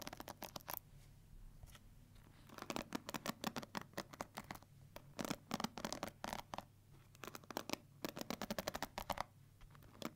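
A pink handheld plastic paddle hair brush with a hollow, cushioned black rubber head and plastic bristles is scratched and strummed by long white-tipped nails. Bursts of quick, crisp, bright ticking and scratching flutter across the bristles, separated by short quiet gaps.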